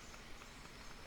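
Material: Nothing is struck.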